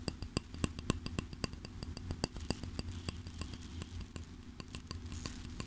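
Fingertips scratch back and forth across the dark bristles of a flat wooden brush held on a table, making quick, irregular, crisp ticks and scrapes with bright tops. A steady low hum runs underneath.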